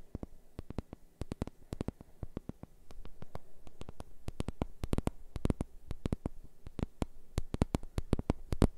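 A large, round, flat, thin solid cork board held in the hand is tapped and scratched with fingertips and nails. The result is a rapid, irregular series of short, dry taps that reach up into bright clicks, over a soft scratching texture and a steady low hum. The tapping grows denser and slightly louder after about three seconds.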